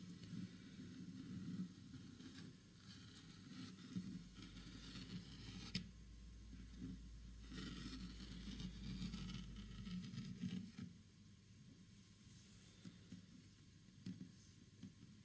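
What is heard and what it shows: Fingertips lightly scratch and rub the surface of a large, flat, solid green-stained wooden panel with a wood-grain finish. The result is a soft, quiet, low-weighted rubbing texture, with brief bright scratchy bursts and a few sharper scrapes standing out along the way.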